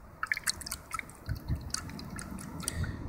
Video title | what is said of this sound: Battery Acid Taste Test | it sounds like it's full of well water or acid